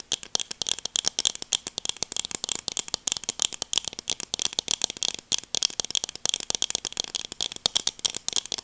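Long nails tap and click rapidly on the frame and lenses of black plastic sunglasses held up close. The result is a dense run of dozens of sharp, dry, bright clicks with no low end and almost no ring after each hit.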